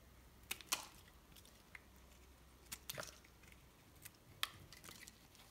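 A solid white bar of soap, held in the fingers, is scored and sliced into cubes with a metal knife blade. The result is a series of short, crisp, bright crunching and scraping cuts with quick decay, spread over a quiet background.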